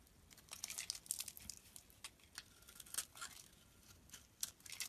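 A metal blade scrapes and shaves curls off the surface of a solid, hand-sized yellow bar of soap held in one hand over a pile of soap shavings. The result is a run of quiet, crisp, bright scraping and crackling strokes with almost no low end. Each stroke cuts off sharply with little ring.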